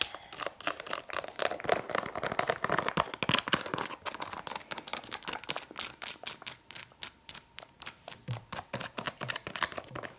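Long nails rapidly tap and scratch a filled Frosch liquid soap refill pouch made of flexible plastic with a spout. The result is fast, irregular crinkly clicks and scratchy rustles that blur together at first, then separate into distinct quick taps toward the end.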